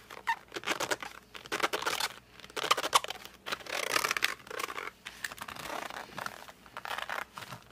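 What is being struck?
Cardboard colored pencil box.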